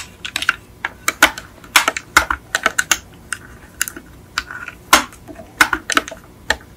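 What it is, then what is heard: Die-cast metal toy car. A small yellow die-cast Beetle model car with a hollow painted metal body is tilted in the hands and tapped and scratched with long acrylic nails. Quick, irregular bright clicks and ticks centered around 1 kHz sound in uneven bursts, each dying away almost instantly over a quiet background.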